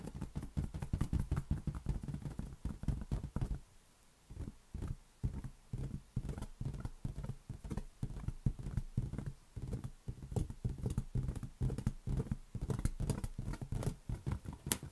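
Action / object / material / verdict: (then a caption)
tap / inflated latex rubber balloon / latex rubber / none. A large, hollow, air-filled green latex balloon is held in one hand and tapped slowly with the fingertips. It gives a steady run of soft, dull, low thumps that stop short with no ring, broken by a brief quiet pause near the four-second mark before the tapping resumes.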